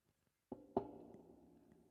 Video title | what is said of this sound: Mainstream Weirdos, Spongebob Movies, Louis CK, etc - Requiem for a Tuesday Podcast ep. 013 | hear that knock on wood